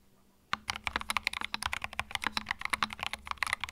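Fingertips type continuously on a compact white mechanical keyboard with plastic keycaps, producing a steady stream of sharp, bright clacks with very short decay. About 22 distinct keystrokes follow a brief quiet lead-in.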